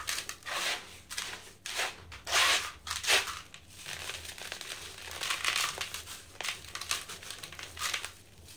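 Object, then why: Sand-cement block. Hands with green nails break and crumble a round, dry sand-cement block over loose powder in a blue bucket. Bursts of dry, gritty crunching and crackling rise and fall, bright and hissy with almost no low end. Loose grains trickle and rustle between the louder breaks.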